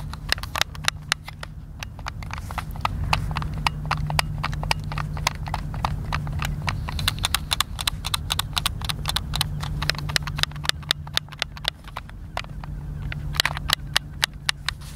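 A white, hand-sized, hollow plastic Xbox controller is held in both hands while fingertips and thumbs press and click its buttons. Rapid, irregular, sharp bright clicks follow one another with no ring, over a steady low hum.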